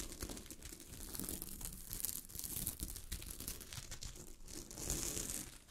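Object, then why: Sequin-covered fabric. Long fingernails scratch a sheet of fabric covered with small gold sequins, producing a continuous bright, crinkly rasping with a soft low rumble underneath. The scratching swells and fades in steady waves, growing brightest near the end before trailing off.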